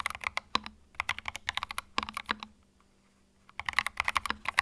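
Fingertips type on a small white 65% mechanical keyboard with plastic keycaps and a hollow plastic case resting on a felt mat. Quick bursts of bright, clacky key clicks stop dead with almost no ring, and a few heavier strokes carry a short low hollow tail. The typing runs in two flurries separated by about a second of near silence.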